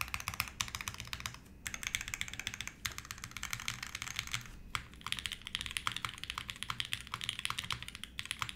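Both hands type with their fingertips on a Navi60 60% mechanical keyboard with an aluminum plate, Tangie switches and white plastic keycaps in a red case, resting on a desk mat. Dozens of quick, bright, clacky keystrokes run in steady bursts, with short pauses near 1.5, 2.8 and 4.7 seconds. Each click dies away almost instantly, with little low end beneath it.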